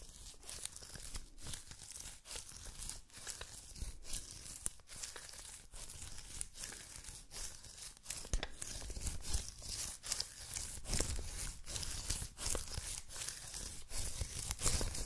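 Fingertips repeatedly tap the sticky white paper roll of an adhesive paper lint roller held tilted, making quick sticky touch-and-peel sounds. Each tap pulls away with a crisp, bright tearing crackle over a low thump, in a steady, close run of light pats.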